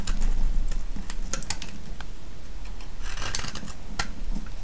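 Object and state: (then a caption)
Soap bar being shaved. A solid green soap bar held in the hand is shaved and scraped with a metal blade. Crisp, dry ticks and short scraping strokes come at an irregular pace, some bright and sharp, over a steady low rumble.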